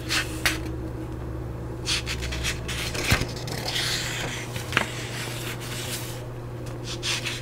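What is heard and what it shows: Fingertips and long nails rub and scratch across the printed pages of an open paperback book with yellowed paper, held in one hand close to the mic. Soft, papery hiss and bright scratchy bursts come and go over a steady low hum, broken by a few short, sharp ticks.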